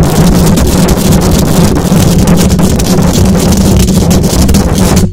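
Long acrylic nails scratch fast across the hollow metal mesh grille of a silver condenser microphone. The sound is a dense, loud, continuous rasping with a heavy low rumble, a steady hum near 176 Hz, and streaks of bright hiss. It cuts off abruptly at the end.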